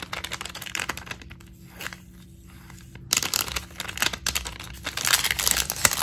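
Fingertips and long nails tap, rub and scratch a flat punch needle craft kit in a clear plastic sleeve lying on a wooden floor. Dense, bright crinkling and scratchy rustles come in bursts, with a quieter stretch of light taps in the middle before the crinkling swells again.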